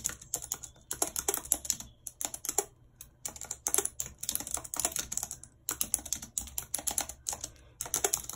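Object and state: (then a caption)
Plastic computer keyboard being typed on. Long red acrylic nails type rapidly on a white low-profile plastic wireless keyboard with a full number pad and hollow housing, lying flat on a map-printed surface. Dense bursts of bright, sharp clicking and tapping come in quick runs separated by brief pauses, each click dying away almost instantly with very little low end.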